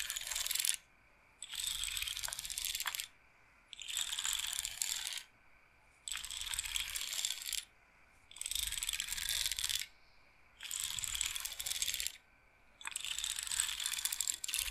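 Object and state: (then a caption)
Wooden bead roller massager. Fingertips and long nails spin and scratch the wooden beads of a wooden bead roller massager, its frame held upright. Seven bursts of bright, dense clicking and rattling, each lasting about one and a half seconds, are separated by short silences.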